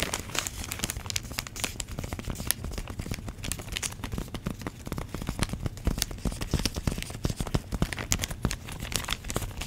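Long nails crinkle and squeeze a clear plastic bag holding orange foam pumpkin cutouts. The result is a dense, continuous run of sharp crackles and crinkles with bright, snappy ticks over a steady low rumble.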